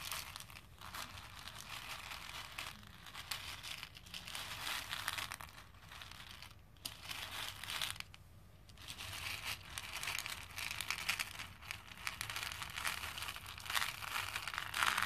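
Both hands rake and scoop small plastic faux pearl beads in a pink plastic bowl, so the beads clatter together. A dense, bright, crackling patter runs continuously for about 15 seconds, with short quieter lulls near the middle before it builds again.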